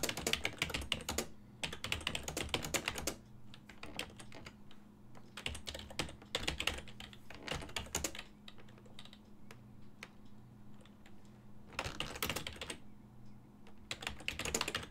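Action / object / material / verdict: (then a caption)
tap / plastic computer keyboard / plastic / none. Fingertips tap the hollow-switch keys of a full-size black and silver plastic ergonomic desktop keyboard in quick bursts of bright, clacky typing. Short pauses with a few scattered taps separate the bursts, and a steady low hum sits underneath the whole time.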